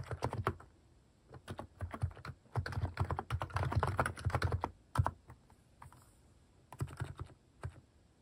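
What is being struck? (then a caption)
Plastic mechanical keyboard keys. Fingertips type in irregular bursts on a Hanmumu plastic mechanical keyboard fitted with cat-shaped plastic keycaps. Quick runs of short, deep, thocky key presses alternate with brief pauses, each keystroke landing with a faint bright click and dying away almost instantly.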